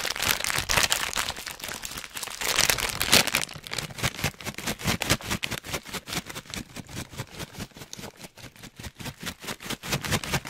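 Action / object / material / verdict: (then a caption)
shake / plastic foil snack bag / plastic foil / none. A full orange plastic/foil snack bag is crinkled with fingertips close up, giving dense, bright crackling for the first few seconds. It is then held up and lightly shaken, producing a loose rhythm of quick rustling pulses, each dying away almost at once.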